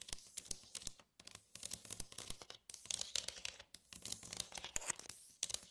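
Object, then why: Plastic divided tray. Long nails tap and scratch across the compartments and dividers of an empty, glossy red plastic divided tray. A steady run of quick, dry, bright clicks mixes with raspy scraping strokes. Each tap dies away almost instantly, with brief silences between bursts.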